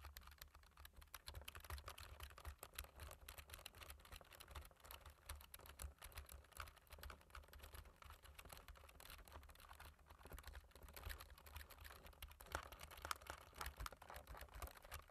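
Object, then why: Plastic computer keyboard. Fingertips type rapidly on the black plastic keys of a computer keyboard, with rings worn on the fingers. A dense, uneven stream of short, dry clicks and taps runs throughout over a steady low hum.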